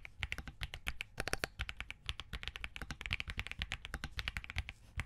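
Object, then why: Plastic mechanical keyboard. Both hands type quickly with their fingertips on a compact Spark67 mechanical keyboard with Crane switches, green and cream plastic keycaps and a POM plate. The result is a fast, steady run of dozens of crisp, short clacks, each with a bright top and a low thock underneath, dying away almost instantly.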